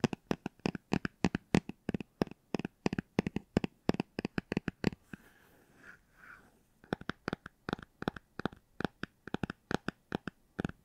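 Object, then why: Hardcover book. A hardcover book is tapped in quick, dry, closely spaced taps with a low thud and a brighter click on top, each dying away almost instantly. Near the middle the taps stop for about two seconds and a soft scratching rubs across the surface, then the rapid tapping resumes.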